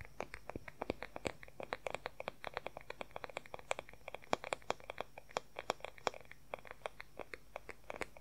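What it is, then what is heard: Wooden hair brush back. Fingernails rapidly tap and scratch the smooth, solid wooden back of an oval wooden hair brush, held with its bristles facing away. Around sixty short, dry, crisp clicks follow one another quickly in an uneven rhythm, each dying away almost instantly, with faint scratchy rustles between them.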